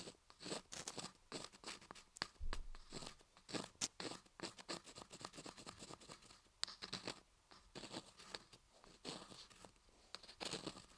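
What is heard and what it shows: A wooden ear pick repeatedly scratches and pokes inside the dark canal opening of a carved laundry soap ear model while the other hand holds the block. The result is a quiet run of dense, dry scratching and crunchy scraping strokes with bright, hissy highs. The strokes come in quick, uneven bursts and stop sharply with no ring.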